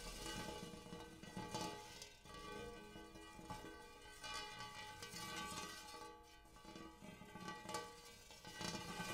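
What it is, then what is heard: Metal bowl tapped with fingernails. Fingernails on both hands tap near the rim and inside a large, empty, hammered brass-colored metal bowl. Each tap adds to a steady, shimmering metallic ring of layered bright overtones centered around 855 Hz, and the tones sustain and overlap between taps.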